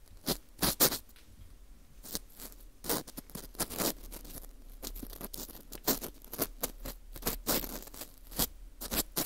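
A green plastic scoop scrapes and picks inside the hole of a porous dried wheat gluten ring (fu). Short, dry, crackling scratches come in irregular bursts, bright and rasping with little low end and almost no ring after each stroke.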